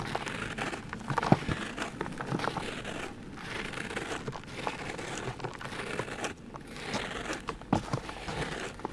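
Fingertips and short nails scratch and scrape the surface and edge of a large, round, solid cast of dry grey cement sitting in a blue plastic tub, knocking off crumbly powder and small chips. The result is a steady, dry, gritty crumbling and crinkling texture, punctuated by a few sharper crunchy snaps near the start and toward the end.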